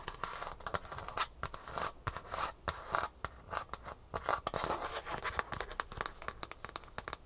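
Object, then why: Shoe insole with plastic heel cup and foam base. Long nails tap and scratch the rigid green plastic heel cup, fitted with metal rivets, on the underside of a Superfeet shoe insole with a gray foam base. Quick, sharp clicky taps mix with dry, bright scratching bursts that stop short with almost no ring and little low end.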